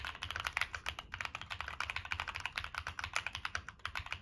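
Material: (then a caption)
Plastic. A Monsgeek M1 mechanical keyboard with a black aluminum case, plastic keycaps and NK Cream switches is typed on continuously with the fingertips. The result is a steady, quick run of short, crisp clacks, bright and clicky with little low end, each dying away almost instantly.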